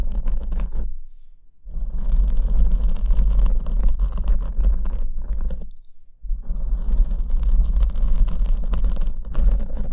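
A black foam windscreen on the left microphone is held in one hand while the long nails of the other hand scratch its front surface. The result is a dense, muffled, low-heavy rustling and rumbling scratch, broken by two brief near-silent pauses.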